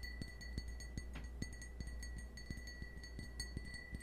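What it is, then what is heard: Cut crystal wine glass. A small, hollow, empty cut-crystal stemmed wine glass, held in the hand, is tapped repeatedly with fingernails. Each tap gives a sharp, light click over a steady, clear ring near 2 kHz with faint high overtones. A low, constant hum sits underneath throughout.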